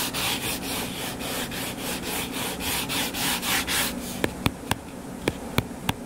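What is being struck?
Hardcover paper book.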